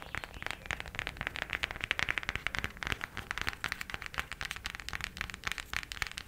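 A cardboard eyeshadow palette is tapped quickly with the nails, giving a rapid, steady stream of short, dry, crackly clicks. The taps are bright, centered around 1.8 kHz, with very little low end and almost no ring after each one.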